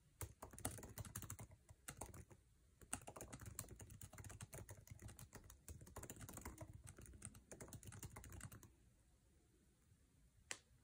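Fingertips of both hands type fast on the backlit, low-profile scissor-switch keyboard with plastic keycaps of an aluminum MacBook Air resting on a table. Dense, rapid clicky taps with short, dry decay run in bursts for about eight and a half seconds, pause briefly near three seconds, then fade to near silence before one last sharp tap.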